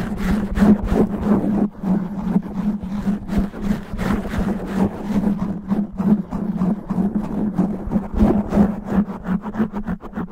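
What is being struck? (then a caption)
Foam microphone windscreen. Natural nails on both hands scratch fast and rough across the sides and top of a black foam windscreen covering a microphone head. The result is a dense, continuous run of scuffing and rasping strokes over a steady low hum near 200 Hz.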